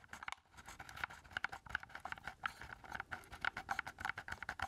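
Fingertips tap rapidly on the casing and keys of a hollow black plastic keypad game controller with a knob, held up in both hands. The result is a quick, uneven run of dry, hollow clicks and taps with a bright midrange tone around 1.5 kHz, very little low end, and no ring after each hit.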